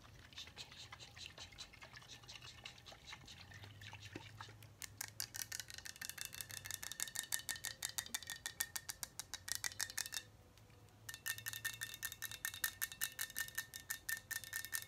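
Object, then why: Glass bottle of liquid tapped with fingernails. Long acrylic nails tap rapidly along a tall glass liquor bottle full of pink liquid, with a labeled body and a cap. Soft, quiet clicks for the first few seconds give way to louder, bright, quick-fire tapping with a faint glassy ring near 1.8 kHz. The tapping pauses for about a second near the ten-second mark, then resumes.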